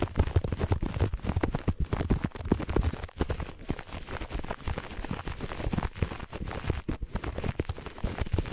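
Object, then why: Looped pile carpet. Long nails of both hands scratch fast and hard across the pile of a flat looped grey-beige carpet. The result is a dense, continuous stream of rough, dull scratching with a heavy low end and almost no brightness, where the quick strokes blur together instead of standing apart.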